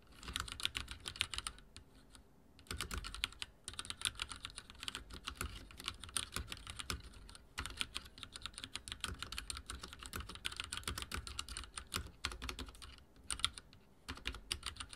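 Fingertips of both hands rapidly type on a full-size backlit mechanical keyboard with dark plastic keycaps and linear switches, resting on a wooden desk. Dense streams of short, bright, clacky key taps with a soft low thock run through the clip, broken by a few brief pauses.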